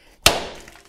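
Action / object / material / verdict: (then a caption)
strike / steel bearing driven into an axle tube / steel / seated. A chilled steel axle saver bearing is struck once with a hammer on a driver tool, driving it into a Blazer rear axle tube. The strike is a single sharp, solid metallic hit that decays quickly into a short bright ring. The solid sound indicates the bearing has bottomed out and is fully seated, with its stick-out now about 1/8 to 1/16 inch smaller than before.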